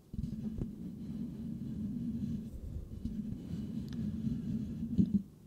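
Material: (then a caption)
Metal mesh. Slow fingertip and nail scratching with both hands on the perforated metal mesh grille of a white Blue Yeti microphone with a hollow head. It makes a continuous, close, low rumbling scrape with a steady hum near 200 Hz. The scratching briefly grows louder and sharper just before it stops.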